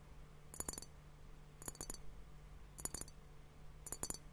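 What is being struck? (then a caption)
Glass liquid-filled hourglass timer. Fingertips and nails tap a clear glass hourglass liquid timer filled with pink liquid and bubbles, which is then lifted and held upright while the tapping continues. Four quick bursts of light, bright clicks sound, each made of several rapid taps that die away almost instantly over a quiet, steady low hum.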